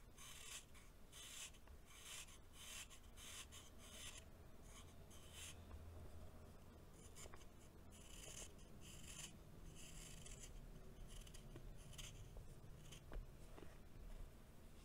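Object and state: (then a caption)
Compacted baking soda chunk being shaved. A solid, compacted chunk of packed baking soda is held in the hand and shaved with a green knife blade. Repeated gritty, bright scraping strokes sound over a quiet low rumble, with a few sharp crunchy ticks along the way.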